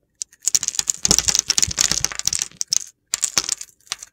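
A utility knife blade slices many small, crumbly cubes off a solid, dry, palm-sized bar of soap with a pink rim and white-blue core, pre-scored in a grid and held in the hand. Dense bursts of crisp, bright, crunchy clicks and scraping crackles come in quick succession, with brief pauses between groups of cuts.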